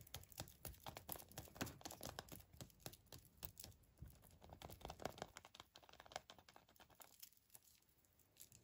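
Fingertips peel and crinkle the thin printed aluminium foil wrapper off a small Kinder Surprise egg with a hollow chocolate shell. The result is a dense run of quick, dry crackles and tearing rustles with bright, crisp edges and almost no ring, quieting toward the end.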